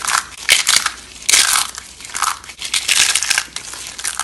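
Bare fingers squeeze and crush handfuls of small, hollow rolled curls of dry bar soap in orange, green and white piled on burlap. The curls break into flakes with dry, crisp crunching and crackling in repeated bursts. The sound is bright and high with almost no low end.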